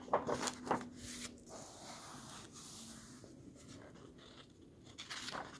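A hand and fingertips rub across the illustrated paper pages of an open hardcover book and turn them. Sharp papery crinkles and flicks come at the start, followed by a long, soft brushing rustle and a few more crisp page sounds near the end.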